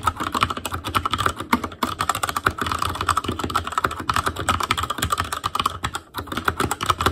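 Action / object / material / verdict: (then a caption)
tap / mechanical keyboard with plastic keycaps / plastic / none. Fingertips of both hands type continuously on an Asus Claymore Core backlit mechanical keyboard with plastic keycaps. A steady stream of rapid, sharp key clicks and clacks, with a bright tone around 1.3 kHz and a light low thump, each dying away almost instantly.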